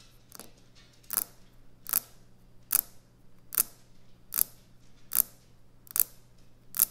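Fingernails tap on a solid white speckled quartz or stone kitchen countertop. Nine short, sharp, bright clicks, the first one softer, land at an uneven, roughly steady pace with almost no ring after each. A faint low hum runs underneath throughout.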